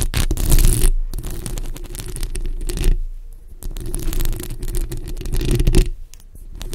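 Long acrylic nail tips on both hands scratch across a bare, hollow black metal mesh microphone grille. The result is a dense, rapid scraping with a heavy low rumble and bright, gritty crackle on top. Brief quieter gaps fall near the one, three and six second marks.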